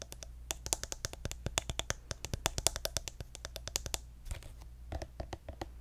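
A pink soft plastic lotion squeeze tube with a gold cap, partly full, is tapped rapidly with fingertips and nails. The result is a fast run of crisp, dry clicks with bright edges and almost no ring over a steady low hum. The tapping thins out briefly near the four-second mark, then continues in looser, scattered taps.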